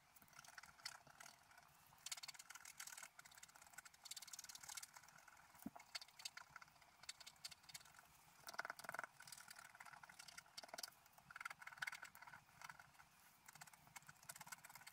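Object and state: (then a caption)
Scratch art paper being scratched. A wooden stylus held in the fingers scratches lines into the black coating of a flat, solid scratch art sheet, about A4 size, lying on a table. Quiet, dry, bright scratching comes in short bursts of rapid strokes, with a faint thin tone in some strokes and almost no low end.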